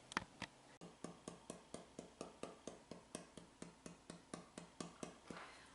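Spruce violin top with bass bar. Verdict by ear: Resonant.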